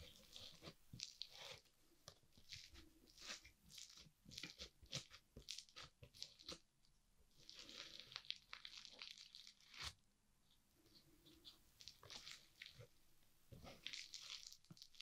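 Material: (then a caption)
Foam beads. Orange-pink foam-bead crunchy slime heaped on a wooden board is folded and pressed with a green plastic spatula and a rounded tool. Dense bursts of bright, crisp crackling and popping come in uneven clusters over soft squishing, giving a strong crunch throughout.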